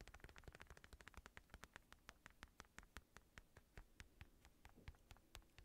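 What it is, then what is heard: Synthetic leather boxing glove. Fingertips tap the padded thumb and knuckle area of an empty black padded synthetic leather boxing glove with red lining. About 33 quick, dull taps follow in a steady rhythm, each with a brief bright click that dies away at once, over a faint low hum.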